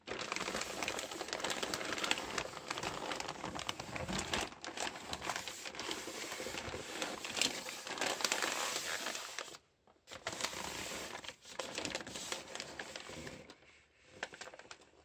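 Green rubber-gloved hands rub and handle a flat red plastic postal mailer bag with a paper label and a parcel inside, crinkling the film. A steady, bright, dense crinkling and crackling runs through the clip, dropping out briefly just before the 10-second mark and again near the end.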